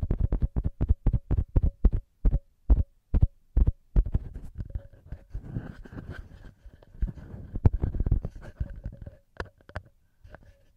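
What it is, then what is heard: Metal microphone capsules tapped and rubbed. Fingertips rapidly tap and rub the small knurled metal XY microphone capsules on a TASCAM recorder. Quick, deep, heartbeat-like thumps come first, then blur into denser rubbing and scratching before returning to spaced taps.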